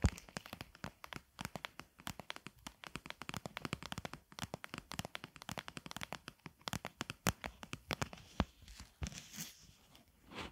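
A medium, hollow clear plastic container filled with pink mesh material is held in the hands and tapped and scratched on the outside with long acrylic nails. A rapid run of dozens of short, dry clicking taps with crinkly scratching is heard, each dying away almost instantly. Toward the end the taps thin out into softer, brighter scratching.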